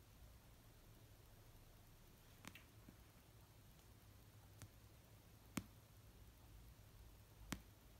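An orange paperback novel of solid paper, resting on a blanket, is tapped and lightly scratched with nails and fingertips. Five short, dry taps sound slowly and unevenly over a very quiet, low background hum, with faint scratching between them. Each tap is sharp and bright but dies away instantly with no ring.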